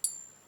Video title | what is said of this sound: Putting a Fake Silver Coin to the test! | there's a ping that's coming out from it and that sounds very nice